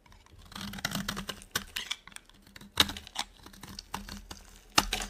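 A small metal blade carves a solid rectangular bar of dry white soap held in one hand, scraping and shaving off brittle flakes. The result is a run of crisp, dry scraping and crackling bursts, bright and hissy, with short sharp snaps that die away almost instantly.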